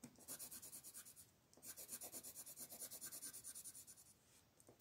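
A green wooden colored pencil makes rapid back-and-forth scratching strokes across the top of a flat paper coloring book page while a hand with long nails holds the page down. The quick, bright, papery rasps come in steady bursts, with a short pause after about a second and a softer stretch near the end.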